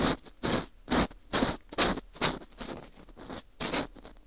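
A green plastic scoop scrapes a porous, dried wheat gluten ring (fu) with a hollow center. The result is a regular series of about eleven short, bright, crumbly scratching strokes with faint rustling between them.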